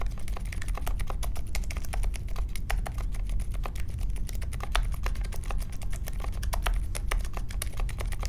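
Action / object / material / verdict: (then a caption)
tap / mechanical keyboard with plastic keycaps / plastic / none. A small 60% Polaris mechanical keyboard with a grey case, white, mint and pink plastic keycaps and Silent Alpaca linear switches is typed on steadily with the fingertips of both hands while resting on a marble desk. The result is a continuous stream of soft, muted key clacks with short, dry decays over a deep, low-heavy thump.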